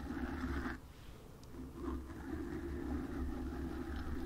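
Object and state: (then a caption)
Foam microphone windscreen being scratched. Long acrylic nails on both hands scratch and lightly tap across the soft, porous black foam ball windscreen of a desk USB microphone. The result is a dense, muffled, close rustling with a strong low rumble and a hum-like tone in the low mids. It eases briefly just before the midpoint, then returns steady and full to the end.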